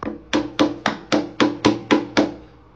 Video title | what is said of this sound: Making veg biryani#food | మనం ఇలా కొట్టినప్పుడు గుల్లగా సౌండ్ వస్తుంది కదా చూడండి